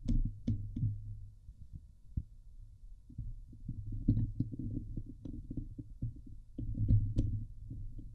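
Fingertips and long nails scratch the sides and top of the hollow metal mesh dome grille on a Blue Yeti microphone. The result is a steady run of dull, boomy thumps and rough rasping strokes, heavy in the low end around 105 Hz, with occasional brief bright ticks as the nails catch the mesh.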